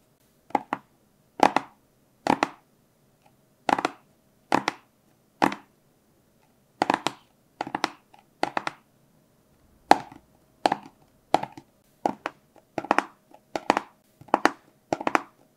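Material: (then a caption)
Cardboard. A small, hollow, blue and white printed cardboard product box is held in both hands above a book and tapped and scratched with fingertips and short nails. Short clusters of quick, dry, papery taps and scrapes repeat through the clip, with a hollow midrange knock and almost no ring after each burst.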